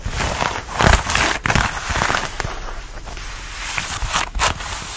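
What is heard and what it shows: Fingertips and nails scratch and rub a fitted denim dress being worn, working over the fabric at the bodice and waist. The result is dry, rough scratching with bursts of brighter rasping and a low, soft rumble beneath, rising and falling in irregular strokes.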